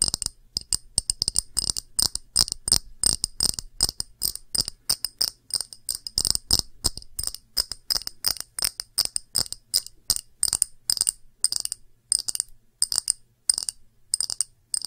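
Long fingernails tap rapidly and irregularly on a small, round, empty clear glass dish with bead feet, some taps close to the microphone. Each tap is a bright, crisp click with a high glassy ring that dies out almost at once, coming in quick bursts separated by short pauses.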